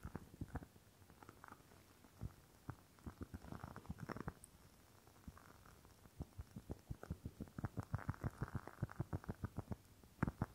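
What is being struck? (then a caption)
Glass candle jar with wax. Long nails tap and scratch the outside of a rectangular clear glass jar holding solid red wax. Quiet, dull, low-pitched clicks come in uneven bursts, with brief soft scratching between them, and they grow into a denser run of taps toward the end.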